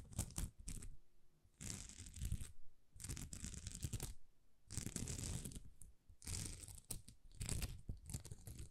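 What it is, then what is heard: Plastic rhinestone sticker sheet. A thin, flexible sheet of small plastic rhinestone stickers is scratched and rubbed with long nails. Bursts of dry, crackling scratching alternate with short quiet gaps. The sound has a bright, gritty texture over a low rumble.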